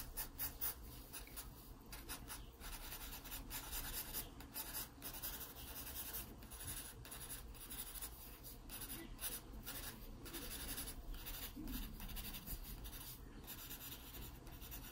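A wooden graphite pencil draws hatching strokes over a pear on an open paper sketchbook lying flat. Quiet, steady scratching and rubbing of the lead on the paper continues throughout, with bright, raspy texture over a low background hum.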